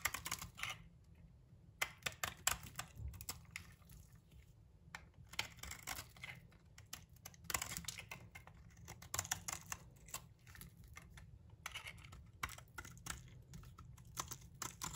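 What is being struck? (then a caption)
Soap bar scraped with a metal blade. A metal blade, guided by a fingertip, repeatedly scrapes and cuts across the surface of a solid amber bar of soap held in the palm, lifting thin shavings. The result is bursts of crisp, bright, rapid scratchy clicks separated by brief quiet pauses, over a faint steady low rumble.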